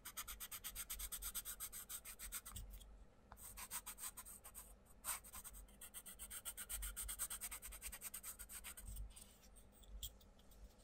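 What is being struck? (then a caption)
Wooden coloured pencil on a thin paper page. A wooden coloured pencil rubs rapid shading strokes across a thin paper page of a colouring book lying flat, while the other hand holds the page down. The result is a fast, steady, bright scratchy rasp that stops briefly a few times between bursts of strokes.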